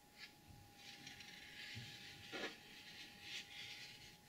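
Long acrylic nails scratch and tap across the lid of a flat, closed, medium-sized, hollow rigid cardboard gift box with a gold glitter surface and BEAUTY BLVD print. The result is a bright, gritty scratching that rises and falls for a few seconds, with one sharper tap standing out near the middle over a faint steady hum.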